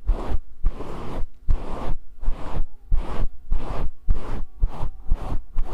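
Fingertips rub and scratch a grey faux fur microphone windscreen held in both hands. The result is a run of rhythmic, breathy scratching bursts separated by short gaps, with soft low thumps underneath and a bright hiss on each stroke.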